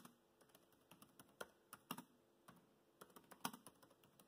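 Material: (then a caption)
Plastic. Fast fingertip typing on a laptop keyboard with black plastic keys. About fifteen short, dry, quiet clicks come in an uneven rhythm, with a few louder, brighter key strikes standing out.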